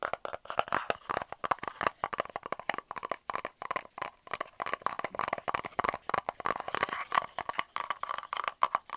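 A small, hollow, round kraft cardboard tube end cap is held in both hands and tapped and scratched with the fingernails on its flat end and its side. Rapid, dry, crunchy taps and scrapes follow one another in a dense stream, with a papery tone centered around 1.1 kHz and almost no low end. Each hit stops at once, with no ring.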